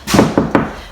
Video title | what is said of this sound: Investissement locatif à SAINT GEORGES MONTCOCQ (Manche - Normandie) par EVA IMMOBILIER | ça sonne creux derrière on a un escalier